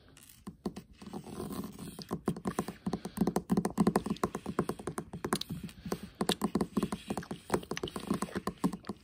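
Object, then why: Flat metal tin palette lid. Fingertips and short nails of both hands tap quickly on the pink lid of a flat, hollow metal tin eyeshadow palette with a gold rim. The result is a dense, uneven run of soft, hollow clicks with a warm low-mid body around 200 Hz and faint bright edges. Each tap dies away almost at once.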